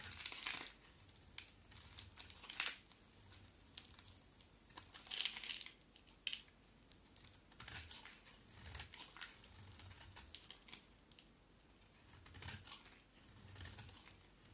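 A round, solid soap bar with red-and-white stripes and a black painted coat is held in the hand and scraped and shaved with a box cutter blade. Irregular bursts of crisp, bright crinkling and scraping rise and fade between quiet pauses. Shavings pile up beside the bar.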